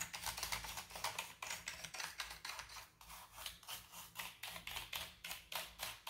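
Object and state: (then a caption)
Plastic computer keyboard. A wooden-handled bristle brush sweeps back and forth across the keycaps of a full-size black plastic keyboard with a hollow body. It makes a steady run of quick, bright, scratchy swishes with little low end, each stroke dying away almost at once.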